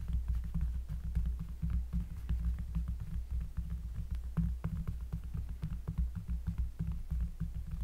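Fingertips with long nails trace over a thick, solid, round cork trivet lying on a table, using both hands, near the end of a tracing sequence. The close-miked sound is a deep, throbbing low rumble that pulses steadily throughout, with faint, brief scratchy ticks scattered above it.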